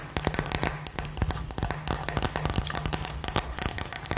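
A hollow, glittery, light-up glass LED ball with gold glitter is held and tapped and scratched with long nails, giving a rapid string of sharp, dry clicks and scrapes. A faint high, glassy shimmer sits above the taps over a steady low hum.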